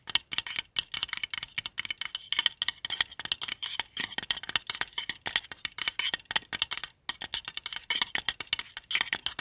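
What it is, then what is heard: Plastic compass. Fingertips tap and scratch the printed dial of a palm-sized, flat white plastic qibla compass disc with a central compass, resting on a blanket. Dozens of quick, dry, bright clicks and scratchy rattles come in dense, irregular bursts with no low end and almost no ring, briefly pausing near the seven-second mark before resuming.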